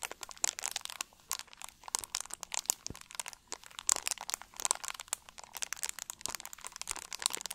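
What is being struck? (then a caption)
Plastic drink bottle. An empty, hollow, clear plastic drink bottle with a label is squeezed and crunched with both hands. Dense, rapid crinkles and sharp crackles follow one another throughout, bright and thin with almost no low end. Each snap stops dead without ringing.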